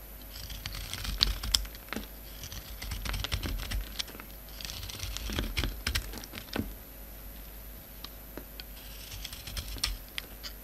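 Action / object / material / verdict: scrape / bar of soap scraped with a knife blade / soap / none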